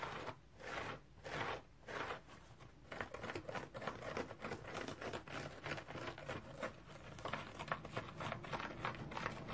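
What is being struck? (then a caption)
Cellulose sponge. Fingernails scratch a round, dry cellulose sponge striped in blue, yellow, green and orange, with a rope loop. The first few strokes come as separate dry, crinkly rasps, then build into a denser, uneven run of rapid scratching with bright, papery crackle. The sound stays fairly quiet throughout.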